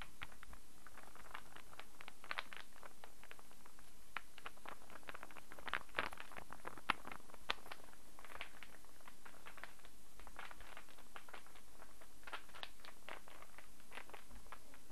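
A small, light, unfinished wooden star-shaped interlocking puzzle is held close-up in the hands and scratched and tapped with long fingernails. Dense, quick clicks and scratchy taps patter throughout, with a steady low hum underneath and a few sharper knocks.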